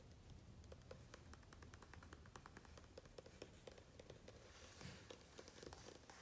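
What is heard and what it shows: Fingertips tap and rub across the glossy printed pages of a large hardcover book lying open at the same spread. Quiet, quick dry taps with a faint mid-pitched tick and bright click follow one another in an irregular rhythm over a low, steady background rumble. A soft, brighter rubbing swish rises near the end between the taps.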